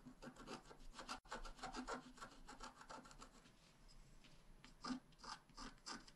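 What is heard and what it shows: A wooden stylus tip scratches a flat, black wax-coated scratch-art page, about A5 size, a solid thin card lying on a table. Quick, irregular rasping strokes follow one another, with a brief silent gap near the start and a softer stretch in the middle. Stronger bright scratches return at the end.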